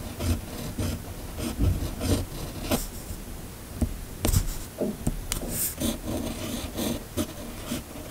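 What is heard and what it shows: The steel nib of a red fountain pen, held in a hand, scratches steadily across a flat, thin sheet of white paper while writing cursive text. Short rasping, scratchy strokes come in uneven bursts, with bright, crisp scratch accents over a soft, low rubbing body. There are brief quiet gaps between strokes.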